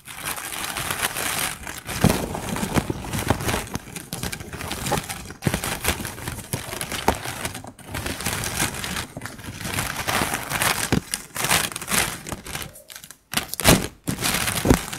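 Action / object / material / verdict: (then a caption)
scrape / pile of plastic drinking straws / plastic / none. Long pink acrylic nails tap, scratch and lift a pile of colorful, empty, hollow plastic bendy straws lying on a fur mat. The result is a dense, continuous crinkling and rustling with quick, dry clicking taps and a bright hiss, broken by a few brief pauses.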